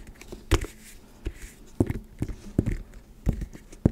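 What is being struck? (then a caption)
Leather handbag. Long red nails tap and scratch the leather flap and side panel of a small black pebbled-leather handbag with a gold clasp, held close to the mic. Short, dull, low-heavy taps land at an irregular pace, separated by soft scratching texture.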